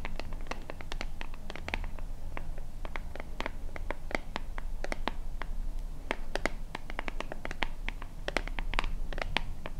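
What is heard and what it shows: Long fingernails scratch the label and sides of a small, hollow white plastic lotion bottle with a purple pump top. Quick, dry, bright scratches and clicks run in a steady, dense stream over a low, constant rumble.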